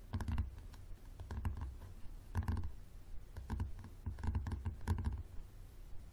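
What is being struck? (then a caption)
Softcover book with leathery cover. Fingertips and nails of both hands tap the spine and leathery cover of a yellow softcover paperback lying on a wooden table. Bursts of soft, low, muffled thumps with faint clicky edges come in quick clusters, each dying away almost at once.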